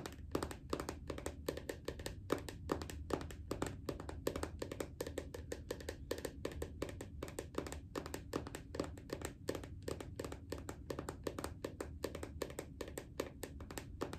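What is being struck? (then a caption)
Plastic lotion bottle. Fingers tap rapidly and unevenly on a bathroom lotion bottle. The quiet, dry, short taps have a low hollow tone and die away almost instantly, running in a continuous stream for the whole clip.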